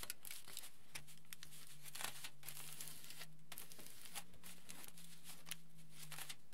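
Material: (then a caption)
Aluminium foil. Hands rub a large aluminium foil sheet and roll and fold its edge, crinkling it. Dense, bright crackles and rustles run steadily throughout at a low overall level, over a faint low hum.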